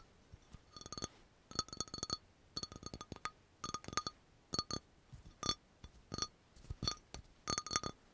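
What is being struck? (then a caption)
Small glass dropper bottle. An amber glass dropper bottle with a label is tapped on its glass surface with long nails in quick bursts. The taps give bright, short clinks with a ringing tone around 1.2 kHz and high overtones, each dying away almost at once.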